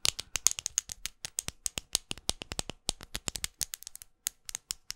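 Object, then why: Plastic lipstick case tapped with long nails. A small, closed, red faceted plastic lipstick tube is held close and tapped and scratched with long glitter acrylic nails. The result is a rapid, uneven run of sharp, dry clicks and scratches, bright and crisp with almost no ring and little low end.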